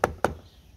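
Two dull, damped knocks on a steel car door panel covered with butyl sound-deadening mat. Each knock stops almost immediately with no ringing, giving the treated door a solid, deadened sound compared with an untreated one.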